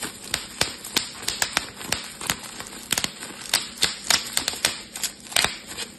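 Fingertips and thumbs squeeze a small, bunched piece of clear, air-filled plastic bubble wrap, popping its bubbles one after another. About 19 sharp, bright snaps come at an irregular pace, each cutting off almost at once. Faint crinkling plastic fills the gaps between the pops.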